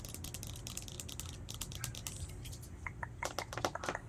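Fingertips and short nails rapidly tap and scratch the sides and lid of a small round translucent plastic tub with a label, filled with green slime and held in both hands. The result is a quick, dry stream of bright clicks and scratches over a steady low rumble. Toward the end, the taps grow louder and sharper, with brief hollow plastic pings.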